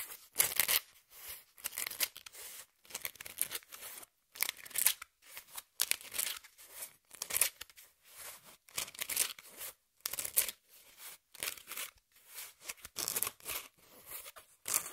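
Long nails scratch the surface and torn edge of a brown corrugated cardboard piece held in hand. Bursts of dry, bright scraping and crackling follow one after another with short silent gaps between them. The scratching is quiet and mostly high-pitched, with almost no low end.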